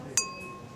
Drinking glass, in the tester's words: there's a difference in the resonance of its tone. So if you were to ping it like so that has a duller thud than if I was holding a lead crystal glass